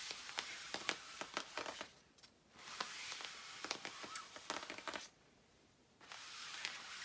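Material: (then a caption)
Nylon. Fingertips and long nails scratch the lower part of a shiny black quilted nylon puffer jacket, producing bright, crisp rustling and scratching with sharp clicky ticks. The scratching comes in bursts with two near-silent pauses, around 2 and 5 seconds in.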